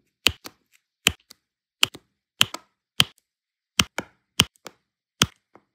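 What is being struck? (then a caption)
Resin drills on adhesive canvas tapped with a plastic placer tool. A pink plastic multi-placer tool repeatedly taps and presses rows of small solid turquoise resin diamond-painting drills onto an adhesive canvas. Eight sharp, bright plastic clicks ring high, most followed by a softer secondary tick, with each sound dying away almost instantly.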